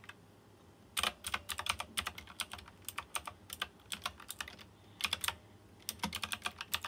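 The fingertips of one hand type quickly on a white plastic mechanical keyboard with round chrome-rimmed keycaps and RGB lighting. Bright, sharp clicks come in quick bursts separated by short pauses, each click dying away almost at once with very little low end.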